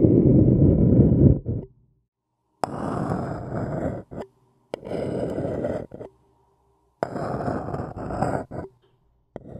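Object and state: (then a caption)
Paper cup being scratched. A thin wooden stick scratches and taps an empty white paper cup turned upside down, its hollow body giving a dry, low rasping sound. Four bursts of scratching, each trailed by a short tap or two, are separated by silent pauses.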